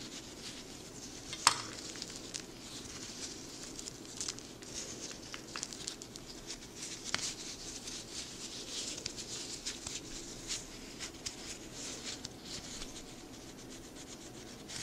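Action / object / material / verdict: scrape / pile of chopped dark chocolate shards / chocolate / none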